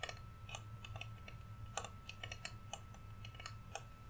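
A large, flat, solid painted wooden Rudolph reindeer cutout, held up in both hands, is tapped with fingernails in a quick, irregular run of light, clicky taps. Each tap is short and dry with a bright, crisp edge. A faint steady low hum sits underneath throughout.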